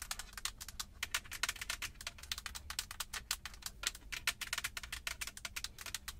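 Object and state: Leather-wrapped steering wheel rim.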